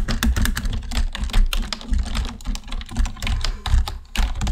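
Continuous fingertip typing with both hands on a black plastic computer keyboard produces a rapid, uneven stream of short, clicky key taps. Each tap dies away almost at once, over a heavy, low thudding undertone.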